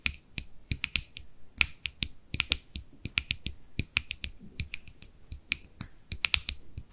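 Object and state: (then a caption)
Plastic cosmetic jar. Long manicured nails tap and click on the lid and sides of a small white plastic cosmetic jar with a label, held closed in both hands. About 30 quick, sharp clicks in an uneven rhythm, each bright and dry with almost no ring and very little low end.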